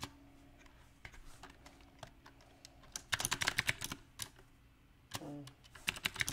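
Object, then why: Mechanical keyboard with round plastic keycaps on a metal frame. Fingertips tap the round plastic typewriter-style keycaps of a mechanical keyboard on a silver metal frame, producing sharp, bright, clicky key taps in an irregular rhythm. The typing starts as sparse, quiet taps, then builds into a denser, louder flurry. After a short low tonal hum, a few final quick taps follow.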